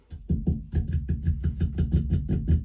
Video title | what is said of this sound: FULL expansive service of an unvented cylinder | Let's check the expansion vessel. First off, tap test. Sounds hollow.